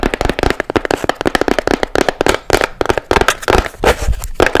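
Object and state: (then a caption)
Fabric-covered box with shell lid. Long nails tap fast and hard on a small hollow box with blue fabric-covered sides and a seashell lid. The result is a dense run of short, dry clicks and knocks with a hollow tone around 510 Hz and almost no ring, like a crackling patter.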